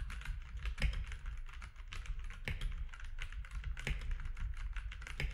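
Fingertips of both hands type steadily on a compact grey-and-white mechanical keyboard with plastic keycaps resting on a desk. Rapid, short clacks of the keys come through with bright edges over a constant low rumble, with a few sharper keystrokes standing out from the stream.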